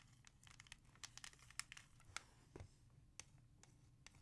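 Long nails scratch and trace across a small, hollow, clear plastic CD jewel case holding a music CD. About a dozen sharp, bright clicks and scrapes stand out irregularly over a quiet, crinkly rustle and a faint low hum.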